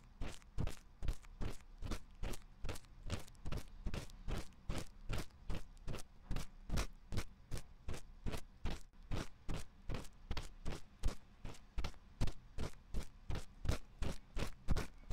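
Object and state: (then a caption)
Silicone microphone ear being scratched. A bamboo ear pick repeatedly scratches and scrapes inside the canal opening of the white silicone ear on a 3Dio binaural microphone's metal-ringed housing. Steady, rapid strokes, about two to three per second, land as dull, low thumping rasps with short, bright scratchy tips that die away quickly.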